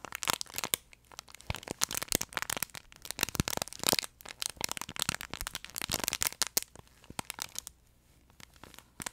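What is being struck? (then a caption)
Plush fabric pet toy with crinkle-paper insert. A long, flat yellow plush duck pet toy made of soft fleece with a crinkle-paper insert is squeezed and scratched with fingertips and medium manicured nails close to the mic. Dense, bright crackling and crinkling comes in quick irregular bursts, with brief quieter scratchy stretches, especially near the end.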